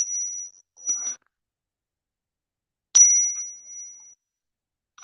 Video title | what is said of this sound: I went to my local coins shops this weekend. | you can hear it resonate for a while